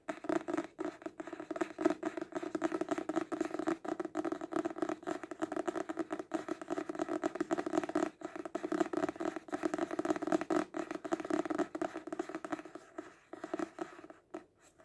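Fingernails rapidly tap and scratch the front card cover of a paperback book of solid paper, held upright. The result is a dense, steady stream of short, dry clicks and scrapes centered in the low midrange around 330 Hz, with no ring after each hit. The tapping thins out and grows quieter over the last couple of seconds.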